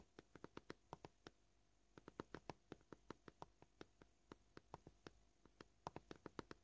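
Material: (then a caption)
Plastic. Short polished fingernails tap and lightly scratch a flat, solid white plastic cutting board. About 33 crisp, dry clicks with almost no ring come at a varying pace, some in quick clusters and others spaced apart, over a faint hiss. A light scratching texture sits beneath the taps.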